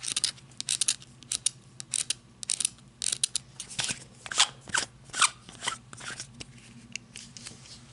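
Long red nails scratch and tap the ribbed barrel of a handheld black matte flashlight, plastic or coated metal, held in the hands. Quick, crisp bursts of bright, high-pitched scratching and clicking stop short with almost no ring. Between them a faint low hum stays steady underneath.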